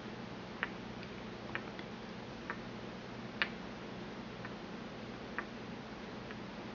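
A porcelain pestle taps and grinds inside a small, empty white porcelain mortar held in the palm. Six short, bright clicks centered near 1.8 kHz come at irregular intervals and die away almost instantly. A steady low hum sits underneath.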